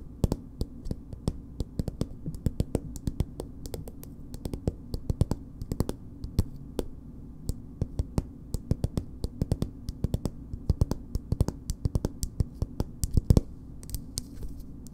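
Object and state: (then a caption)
Soft plastic cosmetic tube. Long nails tap on a small, soft plastic BB cream tube with a purple cap. The result is a steady stream of dozens of quick, dry clicks, each dying away almost instantly, over a low, constant background hum.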